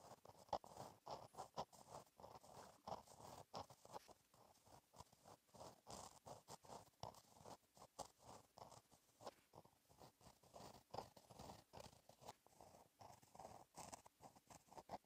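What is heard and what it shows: A gel pen tip scratches across a flat black lined paper notebook page while writing cursive. Quiet, dry scratchy strokes come in a steady, rapid series of short bursts, centered in the mid range around 840 Hz with a little bright hiss.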